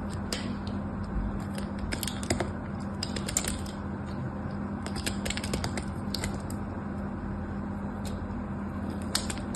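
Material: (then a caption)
Soap. A thin, solid white bar-soap slab held in the hand is carved and scraped with a metal craft knife, and flakes fall onto soap shavings below. Many small, crisp, bright scraping ticks and clicks come in irregular bursts over a steady low hum.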